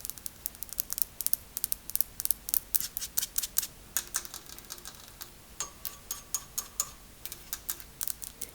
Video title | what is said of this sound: ASMR * My Airbnb Living Room/Kitchen! * Fast Tapping & Scratching * Soft Spoken * ASMRVilla | you can kind of hear this is a metal